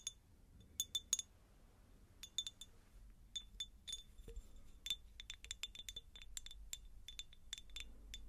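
A medium, hollow, empty faceted cut-glass jar is tapped and scratched with long nails. Quick, bright clinks ring with a high tone, some clustered together and some spaced apart, over a faint low background rumble.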